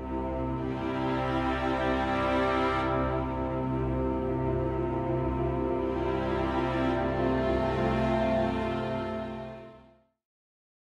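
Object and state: Nothing is struck.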